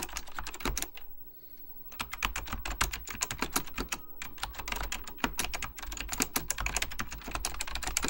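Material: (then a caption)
Plastic. Fingertips with short dark-painted nails type on an Apple Extended Keyboard II, a plastic mechanical computer keyboard with beige plastic keycaps and a hollow plastic case. Rapid, bright, clacky key taps with a low thock from the case come in quick runs, with a brief pause near the start.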